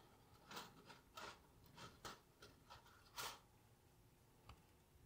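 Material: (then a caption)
Woven mesh. A thin cut strip of woven window screen mesh, possibly fiberglass, is held in both hands above a wooden table while fingertips rub, bend and crumple it. The result is a series of soft, dry, raspy crinkling bursts with bright, airy texture, separated by short quiet gaps over a low background hiss.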